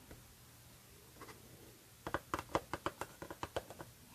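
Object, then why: Paperboard perfume box. Long red nails tap and scratch a white Goutal paperboard perfume box with a window before it is lifted. A few faint scrapes come first, followed by a quick run of crisp, hollow, papery taps that die away almost instantly.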